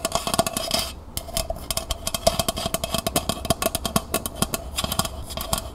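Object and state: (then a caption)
Metal pail. Long nails scratch and rapidly tap the bottom and outer wall of a small, hollow, empty copper-colored metal pail lying on its side. A quick run of sharp clicks, each with a brief metallic ring around 670 Hz, rides over a bright, papery scratching hiss, with one short quieter gap near the one-second mark.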